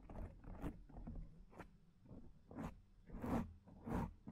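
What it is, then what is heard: Foam microphone windscreen being scratched. Long painted nails scratch and rub a black foam microphone windscreen made of soft porous foam. The result is a series of soft, low, rustling scrapes, some of them with brief bright, airy tops. The strokes come at an uneven pace.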